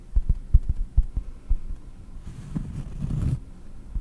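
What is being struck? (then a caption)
Round cork disc. Long nails tap on a round, solid cork disc held in both hands over the microphone, making a quick series of dull, deep thuds that are soft and short with almost no ring. The tapping then gives way to a quieter, continuous scraping texture with a faint bright hiss before a last soft tap.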